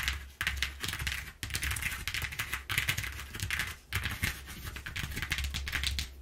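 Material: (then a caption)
Cardboard. Long nails tap and scratch across the exposed ridges of a flat brown corrugated cardboard sheet lying on a table. The result is a rapid, dense patter of crisp, dry clicks and bright scratchy rasps, with short pauses between bursts over a steady low hum.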